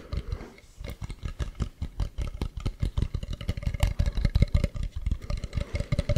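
Fingertips and nails tap and scratch the carved front of a hollow carved wooden mask held close to the mic. A quick, steady run of dozens of short, dry, deep taps sounds with almost no ring and little brightness, over a faint scratching texture.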